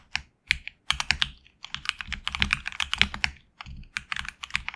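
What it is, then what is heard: Mechanical keyboard with PBT keycaps. A HyperX Alloy Origins Core tenkeyless mechanical keyboard with HX Red switches and grey and red PBT keycaps, resting on a deskmat, is typed on with the fingertips of both hands. Quick, bright, clacky keystrokes come in bursts with a few brief pauses, each click short and crisp with little low-end thump.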